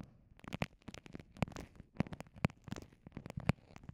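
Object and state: Clear vinyl pouch, scratched and pressed.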